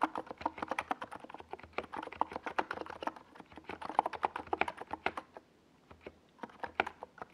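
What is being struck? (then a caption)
Plastic mechanical keyboard keys. Fingertips of both hands type fast on a compact 68-key NiZ Plum Atom 68 plastic mechanical keyboard with a white plastic case and purple and yellow Domikey Gas Attack SA plastic keycaps, resting on a desk pad. Rapid, crisp clacks centered in the midrange each stop almost at once, with a brief pause about two-thirds of the way through before the typing resumes.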